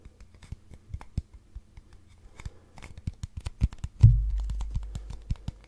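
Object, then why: Cardboard tube. Fingernails scratch and tap the side of a long, hollow brown cardboard tube held upright, producing a quick, irregular run of soft, low, hollow knocks under a faint scratching texture. Near the end, one firmer tap gives a deeper boom that lingers and fades under the lighter taps that follow.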